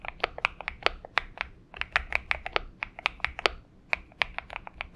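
Both hands type with the fingertips on a purple Xinmeng M71 mechanical keyboard with PBT keycaps. About 26 short, sharp, bright keystroke clicks sound in quick, irregular succession. Each click is dry with almost no ring, over a faint low hum.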